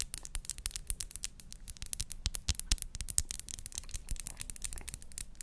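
A small clear glass perfume bottle with a pink crown-shaped cap is held in the hand while long acrylic nails tap and scratch its glass body. A rapid, uneven stream of sharp, bright clicks dies away almost instantly, mixed with soft scraping over a low, quiet background.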